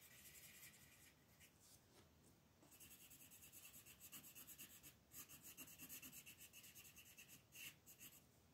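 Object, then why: Colored pencil on a paper page. A dark green wooden colored pencil is rubbed in repeated shading strokes across a large, flat sheet of thin white paper printed with a mandala, lying on a table while a hand with red nails holds it steady. The quiet, bright, scratchy rasp comes in quick, uneven strokes that grow louder and more pronounced through the second half.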